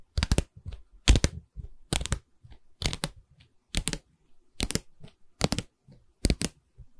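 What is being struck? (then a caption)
Pine stretcher bar of a canvas frame. Long red nails tap and scratch along a pine stretcher bar on the side of a canvas board held in the hands. Sharp, dry clicks with a low woody thud come in about eight clustered bursts, with soft scratching in the gaps between them. Each tap dies away almost instantly.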